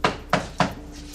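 Three knocks on a built studio set piece, a wall or counter made to look like part of the Rikers Island visitor check-in area. Each knock is a short, hollow rap that dies out almost at once. This shows the surface is constructed scenery, not real.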